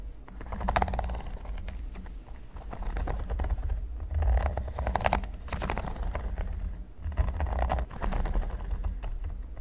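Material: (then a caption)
Silicone. Fingertips and nails tap and scratch the studs of a flat, solid red silicone pyramid mat. The result is a dense stream of soft, dry clicks and rubbery scratches with a heavy low thud underneath. The sound swells in louder bursts and stops quickly after each touch.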